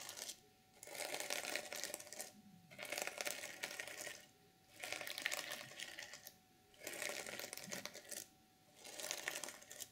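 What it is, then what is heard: Sequin fabric journal cover. Long nails scratch across the flat sequins of a reversible sequin fabric journal cover. Five bursts of bright, crisp clicking and rustling are separated by brief quiet pauses, with the sound concentrated in the high range and almost nothing low.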